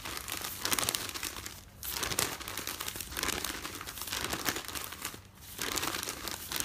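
Fingertips and nails crumple and smooth the top sheet of a folded newspaper stack, making dense, bright crinkling and rustling. The sound comes in continuous bursts separated by brief quieter dips.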